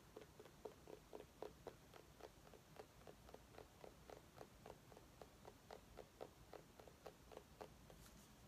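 A small orange mini pumpkin is held in the hands and tapped with long nails in a quick, uneven patter of about four taps per second. Each tap is a short, hollow knock centred around 420 Hz with a faint bright click and almost no ring. The tapping stays quiet over a soft low background rumble.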